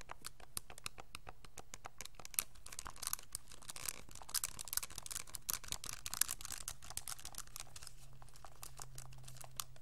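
Fingertips and thumbs tap and press the plastic keys of a pink graphing calculator with a hollow hard plastic case, held in both hands. A rapid, uneven stream of short, bright plastic clicks plays over a steady low hum, with a few sharper presses standing out.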